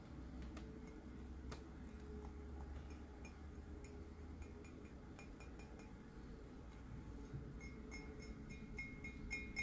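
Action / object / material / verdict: tap / glazed ceramic skull-shaped mug / ceramic / none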